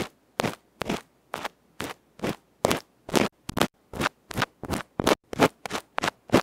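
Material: Aluminium.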